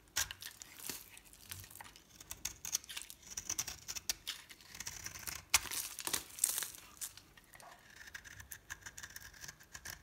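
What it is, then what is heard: Bar soap being shaved. A metal blade scrapes and shaves the surface of a solid green and pink soap bar held in the hand. Quiet, bright, crinkly scraping comes in many quick irregular strokes, with a few louder rasps and short pauses between passes.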